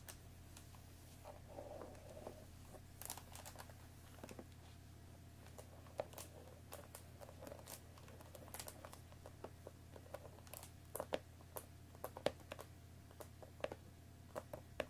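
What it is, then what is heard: Cellophane-wrapped cardboard box tapped with fingernails. Long nails tap the top edge and sides of an Earl Grey tea box of thin cardboard in plastic wrap, hollow with tea bags inside, resting on a wooden table. The quiet, short, dry taps and faint crinkles of the wrap come scattered and irregular, with bright clicks that die away at once, over a steady low hum.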